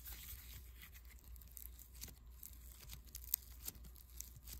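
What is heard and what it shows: A small, soft but solid lump of white foam bead clay is pinched and rubbed between thumb and fingertips. It gives quiet, bright crackling and crinkling with tiny sharp pops, over a steady low hum.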